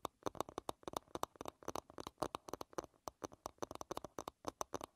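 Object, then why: Wooden paddle hairbrush. Long red nails tap and scratch the smooth back of a solid light-wood paddle hairbrush lying bristles-down. Quick, dry, woody clicks with a hollow midrange tone around 620 Hz come in an uneven, rapid stream. Brief scratchy strokes add a bright edge, and each sound dies away almost instantly.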